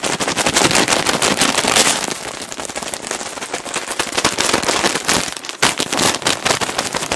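A large clear plastic bag full of cotton balls is gripped, crinkled and tapped with fingertips and nails close up. Dense, bright crinkling and rapid, irregular crackly taps run throughout, easing to a softer rustle for a moment midway before picking back up.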